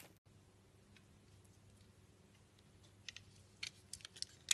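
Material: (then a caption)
Soap. A solid rectangular brown laundry bar soap is held in hand while flakes are shaved off it with a blade. The clip opens with a faint low hum, then seven short, bright scraping crackles arrive irregularly over the last second and a half, growing louder toward the end.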